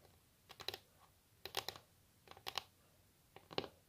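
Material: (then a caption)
Wood. Long natural nails tap quickly on a solid wooden table top, making a typing-like drumming. Four short bursts of sharp, bright clicks roll off the fingertips at about one-second intervals, each click dying instantly against a quiet background.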